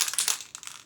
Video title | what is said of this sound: Rust-Oleum 400ml Painter's Touch Interior & Exterior Spray Paint Matt Black - Review #rustoleum | shake it till you hear that ball bearing inside